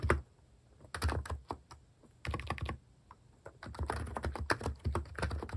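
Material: Plastic.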